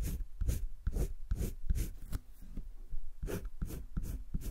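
A green wooden colored pencil is rubbed and scratched across a thick drawing-paper page of a spiral sketchbook. It makes a quick run of short, rhythmic strokes, each with a dull low scuff and a bright, papery hiss. The strokes stop dead with no ring.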